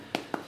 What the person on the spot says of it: quand on tape dessus on entend bien le plastique